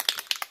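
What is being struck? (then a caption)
Metal aerosol spray can with mixing ball inside. An aerosol can of ultra matte white spray sealer is shaken so the mixing ball inside can mix the paint, which would otherwise spray out runny. Four quick, bright metallic clicks of the ball rattling against the can are heard, with little low-end and almost no ring.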